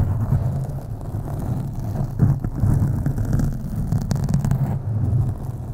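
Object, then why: Foam microphone windscreen. Long acrylic nails scratch slowly along the sides of a black foam microphone windscreen. The result is a continuous, deep, muffled rustling rumble that sits almost entirely in the low range, with occasional brighter crackles as the nails drag across the foam.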